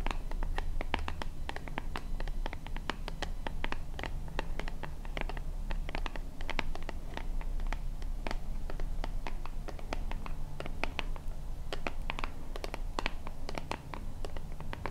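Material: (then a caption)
Plastic. Long painted nails scratch and tap rapidly on a small, hollow white plastic lotion bottle with a purple pump top. The result is a dense, steady stream of crisp, bright clicks and scratchy rasps over a constant low hum.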